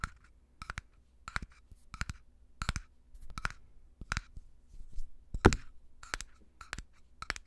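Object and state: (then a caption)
Glass jar tapped and scratched. A small, empty-looking clear glass jar with a dark screw lid is held close to the microphone and tapped and scratched with fingertips and short nails. It gives a steady run of short, crisp glassy clicks and taps, each carrying a brief bright tone over a soft low thump, with faint scratchy rustles between them.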